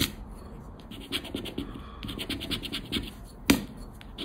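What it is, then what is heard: Paper scratch card being scraped. A round black plastic scraper scrapes the latex scratch-off coating on a thin coated-paper 20X scratch card lying flat on black cloth. Repeated short, bright, gritty scraping strokes rasp over a low background hiss, with one sharper, louder stroke near the end.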